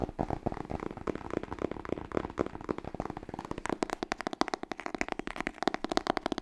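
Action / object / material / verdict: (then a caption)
tap / cloth hardcover book / cloth, cardboard / none. A large, solid, dark blue cloth hardcover "Smashing Book 6" is tapped rapidly with long nails on its cover and spine edge. Dozens of quick, dry clicking taps sit mostly in the midrange with no ring, blurring together at first and then becoming crisper and more distinct toward the end.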